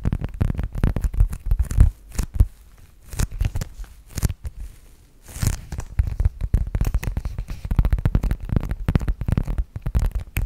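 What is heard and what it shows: A medium-sized black zip-around wallet, likely faux leather, hollow and soft, is held in both hands and tapped and scratched with long nails. Dense, muffled, low-pitched tapping and scraping fills the clip, with brief quieter gaps near 2, 4 and 5 seconds.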